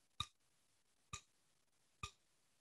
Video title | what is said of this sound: #MusicMatters Keynote: Bowers & Wilkins with Eric McBride | take the solid body and do the same thing you should basically hear nothing